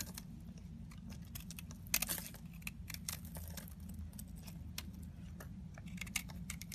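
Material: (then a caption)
Soap. A solid yellow, hand-sized rectangular DURU bar soap is held in the hand and scraped and shaved with a box cutter blade, with shavings falling off. Quick, crisp, bright scratches and ticks come in irregular bursts over a steady low hum, with one louder rasping scrape near the two-second mark.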